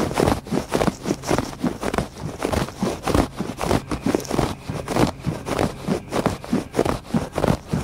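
Fingertips and nails scratch back and forth across a thick woven, braided fabric rug lying flat on a porch floor. About seventeen dry, scratchy strokes come in a loosely steady rhythm, each a brief textured rasp that stops almost at once, with most of the energy in the low and middle range.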